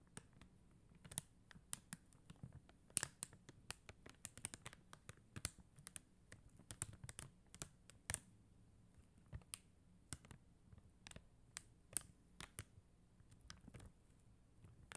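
Long teal acrylic nails tap rapidly on a flat acrylic rhinestone sticker sheet of clear and blue faceted plastic gem stickers on white paper backing. The result is a quiet, irregular stream of sharp, bright clicks with no ring, over a faint low rumble.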